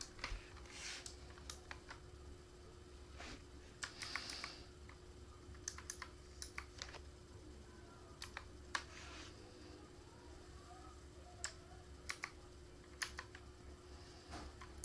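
A single hand presses individual keys with its fingertips on a backlit black plastic K28 mechanical keyboard, producing slow, well-separated, short clicks with bright tops. A steady low tone and a faint low rumble sit underneath throughout.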